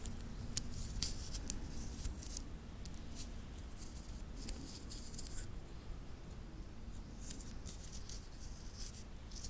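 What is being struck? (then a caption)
Titanium link watch bracelet. A small, solid wristwatch with a titanium link bracelet is held in the fingertips, which flex the links so they click and rub against each other. Short, bright, high metallic ticks and scrapes come in scattered bursts over a steady low hum throughout the quiet clip.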